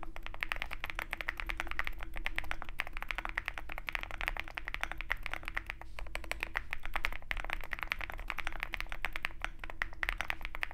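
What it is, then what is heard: Mechanical keyboard with plastic keycaps and metal case. Both hands type steadily with their fingertips on a compact 65% Zoom65 mechanical keyboard with white plastic keycaps and a dark metal case. It produces a fast, continuous stream of short, crisp clacks with a bright upper edge, over a steady low rumble and a faint constant hum.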